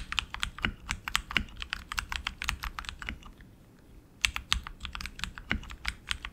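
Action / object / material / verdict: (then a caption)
tap / mechanical keyboard with plastic keycaps on aluminum frame / plastic / none. Both hands type continuously with their fingertips on a tenkeyless RGB mechanical keyboard with tactile switches and plastic keycaps on an aluminum frame. The result is a rapid stream of short, bright clacks with a faint low thump beneath them. The typing pauses briefly near the middle before resuming.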